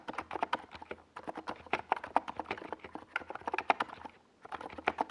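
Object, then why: Plastic mechanical keyboard with plastic keycaps. Fingertips of both hands type rapidly on a NiZ Plum Atom 68, a compact 68-key mechanical keyboard with a hollow white plastic case and purple and yellow Domikey Gas Attack SA plastic keycaps, resting on a desk pad. The result is quick, short, clacky key taps with a mid-toned, slightly hollow character and a bright edge, arriving in dense bursts with brief pauses near the one- and four-second marks.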